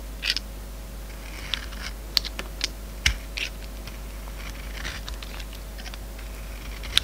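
A steel utility-knife blade shaves slices off a hand-sized, solid oval soap bar with a silver glitter coat and an orange core, held in the palm. Short, bright, crisp scraping crackles and dry clicks come in irregular bursts over a steady low hum.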